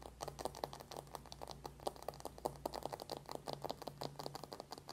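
Long painted nails tap fast on the closed lid of a small, flat, hollow cardboard eyeshadow palette with a dark matte paperboard cover, lying on a white table. The result is a rapid, uneven stream of short, dry, hollow clicks with a mid-range knock around 800 Hz, over a faint steady low hum that drops away after about three seconds. By the end, the palette is opened to show the clear window over the pans.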